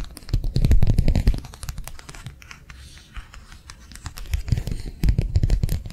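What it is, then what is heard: Thin plastic sheet tapped and scratched. A thin, flexible matte plastic sheet, slightly bent and held in both hands, is tapped and scratched with long nails. Quick, uneven flurries of dull, low-heavy taps open the clip, ease into a quieter stretch of soft scratching in the middle, then pick up again toward the end.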